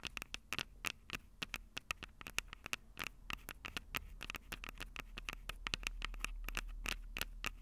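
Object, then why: Metal mesh microphone capsules of a small handheld recorder, tapped with long fingernails. Long purple acrylic nails rapidly tap and scratch the two small crossed metal mesh mic capsules on the hollow plastic body of a Tascam DR-05 handheld recorder. Sharp, dry clicks and scratches come in quick irregular bursts, each with a bright metallic tint around 2.8 kHz. A low rumble underneath grows louder toward the end.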